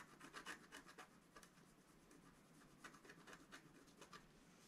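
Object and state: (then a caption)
Scratch art paper sheet. A wooden stylus scratches the upper right area of a flat scratch art paper sheet held down by one hand. The result is quiet, dry, raspy rubbing strokes with bright, hissy bursts, coming in an uneven rhythm about four times per second.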